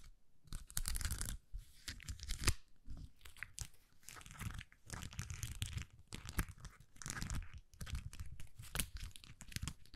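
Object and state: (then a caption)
Plastic rhinestone sticker sheet. A small plastic sticker sheet covered in purple and white acrylic rhinestones is curved, flattened and scratched with long nails. Dense bursts of scratchy, crackling friction come in quick overlapping strokes, with bright clicky edges over a heavy low rumble. Short pauses separate the bursts.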